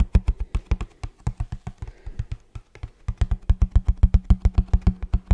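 Fast fingertip and nail tapping on the face of a hollow printed kraft cardboard shoe box held upright in both hands. About 36 quick, separate taps land as dull, low, hollow thuds with crisp clicky edges and no ring, briefly easing off to softer taps in the middle before picking back up to a steady, louder run.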